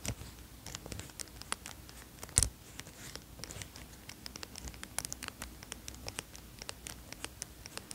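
A green cotton zip hoodie is handled as fingertips fiddle with the zipper pull and scratch it, then rub the fabric. Quiet, dense ticks and scratches with bright, sharp clicks come over a soft low rustle, and one louder metallic snap rises just before the midpoint.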